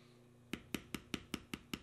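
A steel beveler stamp, held in the fingers, is tapped repeatedly into the carved swirl lines of a solid tan vegetable-tanned leather panel. Seven quick, evenly spaced taps are heard, each a short dry knock with a low-mid thump and a bright click that dies away almost instantly, over a faint steady background hum.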